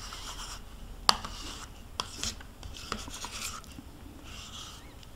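A metal spoon scrapes the inside wall of a small, hollow plastic yogurt cup held in one hand, the cup nearly empty with residue left inside. Bright, rasping scrapes repeat in short strokes, broken by four sharp ticks of the spoon against the plastic.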